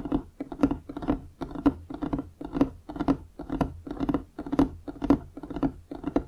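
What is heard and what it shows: Rapid fingertip and nail tapping with both hands on a large solid wooden desk surface, beside a foam-covered microphone that is not touched. Short, dry, knocking taps with a low-mid tone come in uneven clustered bursts about twice a second, each dying away almost instantly.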